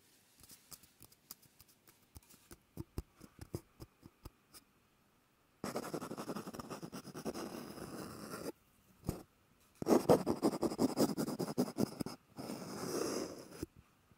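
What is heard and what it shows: Fingertips rub and scratch along the outer surface of an empty, hollow white cardboard roll held in the hand. First come short, separate scratching strokes over about four seconds. Then longer stretches of continuous, dry rasping follow with brief pauses between them, their energy centered in the low-mid range around 300 Hz.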